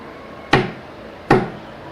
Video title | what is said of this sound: Budismo e Ciência | Então o som do assento é diferente